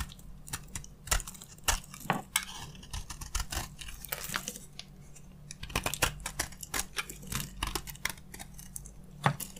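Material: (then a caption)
Soap. A utility knife blade held in a hand with long red nails shaves crunchy flakes from a solid, hand-sized bar of dry yellow soap. Quick, dry scraping crackles come in irregular bursts, with sharper snaps now and then and very little ring, over a faint steady low hum.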